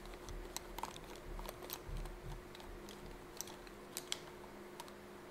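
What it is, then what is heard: Fabric pencil case. Fingertips and nails tap and scratch along the surface of a yellow fabric zip pencil case with a smiley-face print, an elongated, soft-sided case held close in both hands. Quiet, irregular, dry ticks and bright scratchy clicks sound over a soft rustle and a steady low hum.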